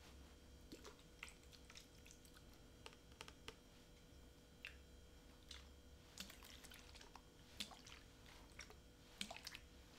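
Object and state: Plastic water bottle, partly filled.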